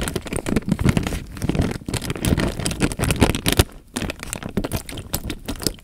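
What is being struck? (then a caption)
Plastic bag filled with water. Fingertips squeeze and crinkle the film of a clear plastic bag filled with water while the water moves inside. The result is a steady run of close crackling crinkles over a soft, low sloshing, with a brief quieter gap just before the four-second mark.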